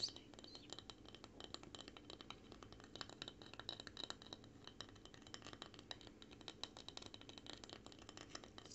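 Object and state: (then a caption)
Wooden sign tapped and scratched. Nails and fingertips rapidly tap and scratch across a small, weathered, grey-painted solid wooden plank sign with ridged grain. The result is a quiet, continuous stream of fast, crisp, bright clicks and scratchy rasps, each dying away almost instantly.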